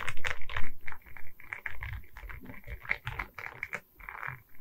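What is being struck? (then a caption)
Resin beads set on a wooden canvas board. Long red nails tap quickly and irregularly on the resin bead face and the wooden frame of a diamond painting on a wooden canvas board, which is held at its sides. The taps are crisp, clicky and short, with a dull, low knock beneath them. They are loudest at the start and grow softer as the tapping goes on.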